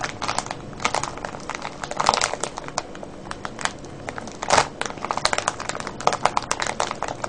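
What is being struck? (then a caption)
Cellophane bag of foil-wrapped candies. Fingertips and nails scratch and crinkle a clear cellophane bag full of foil-wrapped candies. The result is a steady, bright crackle of sharp crinkling ticks with almost no low end, swelling into louder, denser bursts around the two- and four-and-a-half-second marks.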